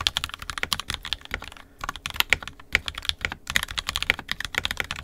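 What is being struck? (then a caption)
Plastic mechanical keyboard. Fingertips of both hands type continuously on an NK65 Entry Edition 65% mechanical keyboard with a purple plastic case, red and black plastic keycaps, and lubed and filmed 67g Tangies switches. Rapid, crisp keystrokes with bright, clacky tops and little low end follow in quick succession, each dying away almost instantly. There is a brief lull around the middle.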